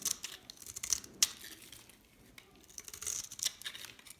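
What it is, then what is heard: Dry soap bar scraped and crumbled. A hand-held solid dried soap bar with a pink rim and green face is scraped and crumbled so flakes fall off its surface. Dry, bright scratching and crackling comes in quick, irregular bursts with a few sharp louder snaps, easing off in the middle before picking up again.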